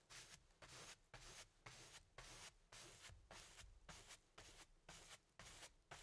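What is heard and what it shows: A paintbrush loaded with black paint strokes and dabs across a medium stretched cotton canvas of thin fabric over a hollow wooden frame, set on an easel. Twelve bright, breathy brushing swipes follow one another at a loose, uneven rhythm, each carrying a faint low hollow thrum from the canvas.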